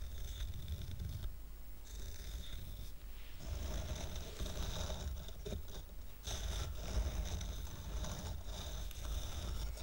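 Fingertips and nails scratch the top and sides of a small square stack of solid wooden coasters, grey with a red painted heart and tied with red-white twine. The result is a steady, soft, rumbling scrape with a low thrum underneath and a thin, bright rasp over it. Brief lulls break up the scratching.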